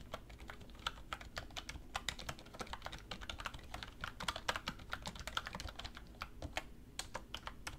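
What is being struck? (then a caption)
Plastic computer keyboard. Fingertips with long red nails type fast and continuously on a black plastic computer keyboard resting on a wooden desk. A dense stream of sharp, bright key taps rises from a soft, steady low hum, each click dying away almost instantly.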